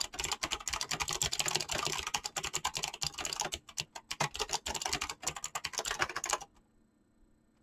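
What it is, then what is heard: Mechanical keyboard with PBT plastic keycaps. Fingertips with painted nails type fast on a mechanical keyboard with PBT plastic keycaps, the hands staying on the keys throughout. A rapid, bright stream of crisp clacking keystrokes runs almost continuously, thins into sparser taps near the end, then stops abruptly into near silence before one last faint tap.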